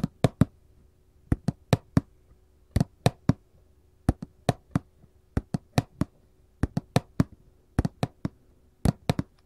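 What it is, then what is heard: Cardboard candy box. A printed paperboard candy box resting on a table is tapped with gold metal claw jewelry, giving about 28 short, dry taps in uneven clusters. Each tap has a dull low thud with a crisp bright click and no ring.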